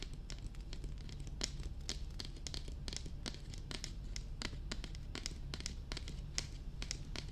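Long red nails tap and scratch across the top and sides of a hollow, glossy black hard plastic dummy head microphone. The result is a steady run of quick, bright clicky taps with crinkly scratching between them, all over a constant low hum.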